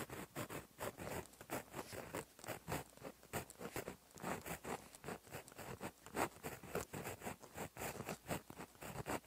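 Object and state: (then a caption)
Pen writing on a paper notebook page. A gel pen tip is dragged across a flat, solid black lined notebook page in handwriting strokes. A quick run of light, dry scratching and rubbing strokes comes in short bursts with brief pauses between them, each stroke a soft papery scrape with a faint bright edge.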